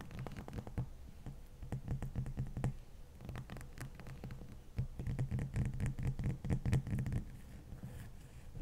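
Long fingernails scratch and tap on top of a large, solid, dome-shaped ice block. The result is a dense run of quick, dry, low-heavy clicks and scrapes at an uneven pace, with a louder, busier stretch in the middle of the clip before it settles back to softer scratching.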